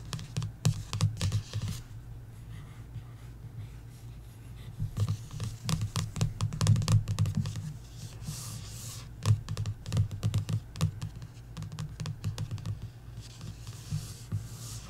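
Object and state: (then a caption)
Paperback book cover tapped and scratched. Long nails tap and scratch the glossy back cover of a paperback coloring book, making quick, irregular clicking taps with bright scratching streaks. Underneath runs a steady low hum.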